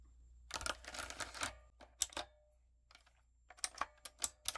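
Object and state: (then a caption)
Mechanical keyboard with plastic keycaps. Fingertips with long coffin nails type on a typewriter-style backlit mechanical keyboard with round brown plastic keycaps on a dark frame. A quick flurry of bright, sharp clicks is followed by a short pause, then a few scattered, crisp key taps that stop dead with no ring.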